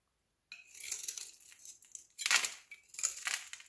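A metal utility knife blade shaves and scrapes thin flakes off the surface of a solid rectangular green soap bar held in the palm. After a brief silence, quiet, bright, crisp scraping and crackling comes in three drawn-out passes, with almost no low end.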